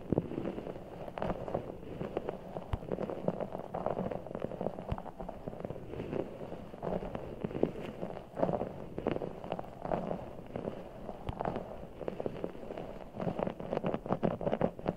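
A full, giant orbeez ball, a large soft ball of blue water gel beads in a clear rubber skin, is held over the mic and squeezed with fingertips. It gives a steady stream of soft, wet squishing and crackling, with low and mid tones and little bright content. The rapid small squelches blur together into a continuous mushy texture, with a few sharper pops.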